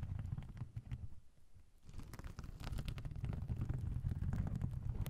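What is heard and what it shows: Fingernails scratch and brush across the sequins of a soft oval pouch covered in blue and silver sequins with a black zipper, held over the recorder. The sound is a dense, low, rumbling rustle with bright crackly flicks. It dips quieter for a moment early on, then builds back to steady, fuller scratching.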